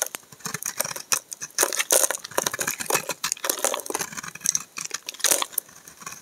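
A utility knife blade scrapes long curled shavings off a solid green laundry soap bar with an embossed logo, held in the hand. It makes a rapid series of dry, crisp scraping and crackling strokes, bright and almost without low end, with short pauses between them.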